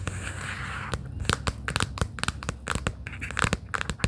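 Long pink acrylic nails tap on a small, hollow, closed pastel plaid cardboard sticky-note booklet case lying on a fleece blanket. A soft, brief rustling hiss gives way to a quick, irregular run of sharp, dry clicking taps that stop almost instantly, over a low steady hum.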